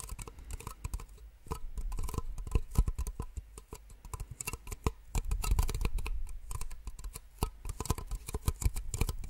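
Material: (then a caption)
Plastic. Two identical small, empty white plastic cups held in both hands are tapped rapidly with long nails. The result is a dense, uneven stream of short, dry clicks and light hollow taps, each stopping almost at once, over a soft low thumping underlayer, with busier bursts in the middle and near the end.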